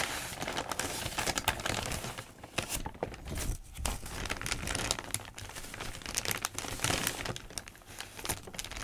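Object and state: Crinkled newspaper sheets.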